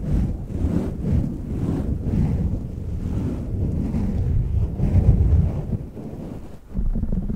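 Fingertips rub, squeeze and scratch a black foam windscreen on a silver microphone from both sides and the top. The result is a dense, muffled, low rumbling rustle, like wind or surf, with almost nothing in the highs. It briefly drops away near the end before surging back.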